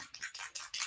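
A bottle of pearl Luminizer airbrush makeup is shaken before use, its metal mixing ball rattling inside. Five bright, high-pitched rattling bursts are heard in quick succession. The ball moves freely, so the product is being mixed.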